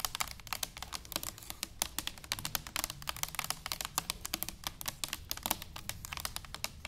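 A tall, hollow stainless steel cylindrical canister standing upright is tapped with long nails and fingertips. Dozens of quick, bright clicking taps come in a steady, uneven patter, each dying out almost at once, over a faint low rumble.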